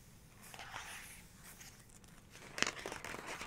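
Long pink nails trace and tap on the glossy paper page of an open photography book, around a black-and-white photo. Quiet, bright swishing strokes drift across the page, then a sharper tap of a nail on the paper clicks out near the end, with light scratchy rustling after it.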